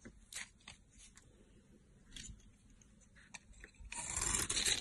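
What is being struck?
Bar of soap carved with a knife blade.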